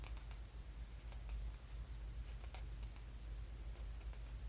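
A small, solid, tumbled tan-brown stone held in the palm is tapped repeatedly with fingertips and nails. The taps come as faint, short, dry clicks with a little brightness, over a steady low hum that carries most of the quiet sound.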